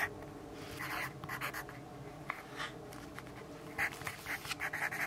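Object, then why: Graphite pencil on a paper notepad. A yellow graphite pencil writes on a lined paper notepad resting on a wooden desk. Soft, dry scratching strokes come in short bright bursts over a faint steady low hum, growing busier and louder toward the end.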